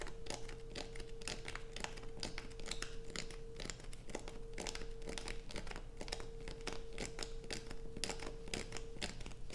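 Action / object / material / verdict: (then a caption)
scrape / bar of soap / soap / none. Fingernails scratch grooves into the top of a solid light-blue bar of soap held over a pile of shavings. The result is a dense, continuous run of dry, crinkly scraping clicks with bright edges, over a steady faint tone near 450 Hz.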